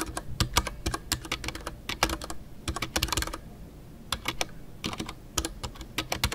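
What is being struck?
Mechanical keyboard with plastic keycaps.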